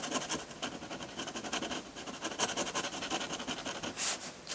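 A metal dip pen nib scratches and strokes ink lines across a flat sheet of textured white drawing paper. The result is a steady run of dry, bright, papery scratches with almost no low end, and a sharper hissing stroke near the end.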